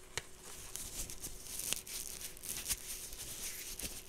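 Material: Straw.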